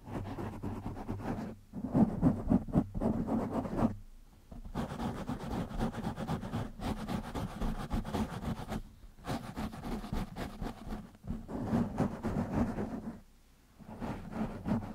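Fingertips of both hands scratch a black foam windscreen on a microphone, making dense, rapid rustling and scratching with a muffled low hum. The scratching runs in bursts with brief quiet gaps, then resumes.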